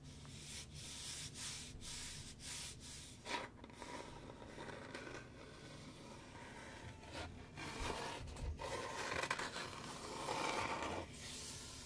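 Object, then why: Small wooden box with metal latch. Fingertips and nails scratch and rub a small, hollow, light-wood box with a metal latch, held in the hands close by. Quick, uneven strokes make a bright, dry rasping texture over a soft low rumble, growing a little louder toward the end.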